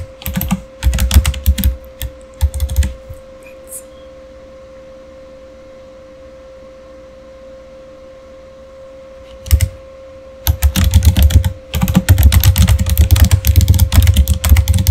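Fingertips type on the keys of a solid, full-size backlit plastic Razer Fire gaming keyboard, giving quick bursts of low, thumpy clacks with bright clicky edges. A short run of typing is followed by a long quiet pause and a single brief flurry, then steady, dense typing to the end. A faint steady hum sits underneath throughout.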